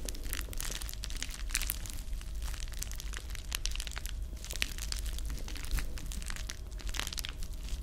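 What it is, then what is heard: Plastic bubble wrap being crinkled. A small folded wad of clear plastic bubble wrap with hollow air-filled bubbles is held in one hand beside the microphone, near the ear, and squeezed and crinkled by fingertips and long manicured nails. The result is a steady, dense crinkling full of quick bright clicks and crackles over a low rumble, with no pauses across the clip.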